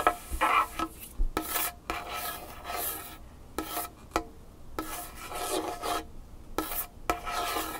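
A large, solid varnished wooden tabletop is scratched and tapped with the fingernails and fingertips of both hands. Short bursts of dry, bright raspy scratching alternate with brief pauses, punctuated by sharp, quick taps that die away almost instantly.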